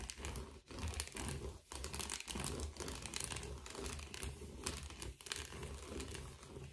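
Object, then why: Foil bubble padded envelope. A blue metallic foil bubble padded envelope is tilted and handled while gloved fingers scratch and crinkle it. The result is a dense, continuous crinkling and scratching with bright crackle over a low, soft rumble, broken by a few brief quiet dips.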